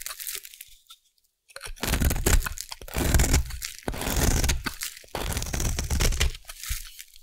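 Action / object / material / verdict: scrape / bar of soap shaved with a small blade / soap / none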